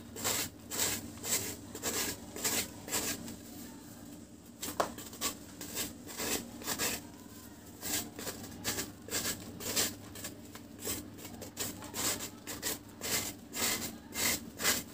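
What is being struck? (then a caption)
Cement cake. A round, flat, solid dry cement cake held in one hand is shaved with a blade in scraping strokes, and powder falls away. Short, bright, dry rasps repeat at about two per second in a loose, uneven rhythm over a quiet background, each stroke stopping quickly with almost no ring.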